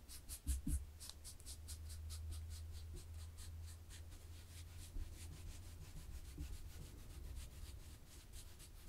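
Long fingernails scratch across a black and white textured knit fabric laid flat as the hands move over it. The result is quiet, steady rubbing with a regular series of soft, bright scratchy strokes over a low, constant hum, with a couple of louder bumps near the start.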